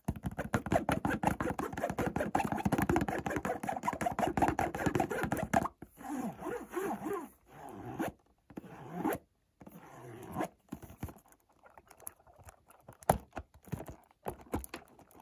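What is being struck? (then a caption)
Cardboard box. A white Montblanc cardboard perfume box is held near a wooden door frame while short nails scratch and tap its front and top. Dense, rapid papery scratching fills the first six seconds. It then breaks into separate bursts of rubbing with sharp taps and short silences between them.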